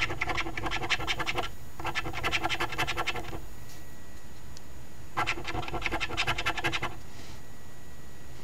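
A coin held in the fingers scrapes the latex scratch-off panels of a flat cardstock Ontario Lottery OLG $5 Very Merry Multiplier instant scratch ticket (#2465), while the other hand holds the ticket down. Three bursts of quick, rasping back-and-forth scratches are heard, separated by short pauses, with a bright gritty texture over a low background hum.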